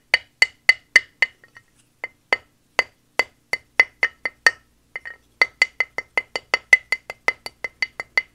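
A square, solid plaster gemstone dig block with a stone-texture top, lying on a towel and held steady by one hand, is knocked repeatedly with a small wooden mallet. About thirty short, dry, clicky taps sound, each with a bright ring near 2 kHz that dies almost instantly, with no low end. A brief pause of softer taps comes in the middle before a steady run of knocks resumes.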